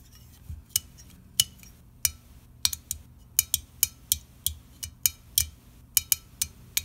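An unopened red aluminium soda can is turned in the hand while fingernails scratch and tap its side and lid. About 18 sharp, bright, dry clicks and ticks ring out at irregular intervals, each dying away almost instantly, with soft scratching and a faint low rumble between them.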